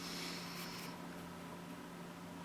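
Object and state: Nothing is struck.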